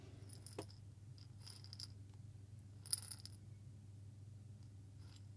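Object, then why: Small glass jar with coffee beans. A small hollow glass jar with a metal lid, partly filled with coffee beans, is shaken and tilted by hand. Bright clicking rattles come in scattered bursts over a steady low hum, with the sharpest clatter near the three-second mark.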